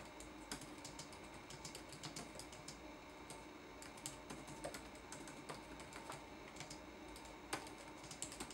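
Fingertips type on a red-backlit laptop keyboard with plastic keycaps, making a steady run of soft, crisp plastic taps with short, bright clicks. A few keystrokes land louder than the rest over a faint, constant low hum.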